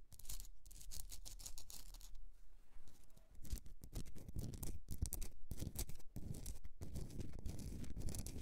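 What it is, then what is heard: Himalayan salt candle holder. Long nails scratch a rock-salt Himalayan salt candle holder, first where it rests and then while it is lifted and held in the hand. The result is a steady run of dry, gritty scratching strokes with bright, crackly bursts over a low, close-up rumble, with brief pauses between strokes.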